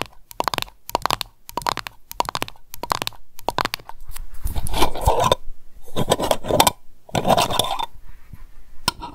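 A small glass candle jar full of wax has its tin lid tapped and scratched by long nails, giving quick, light metallic clicks in bursts around 900 Hz. The jar is then picked up and the lid rim is tapped, producing denser, rougher scraping taps that fade quickly.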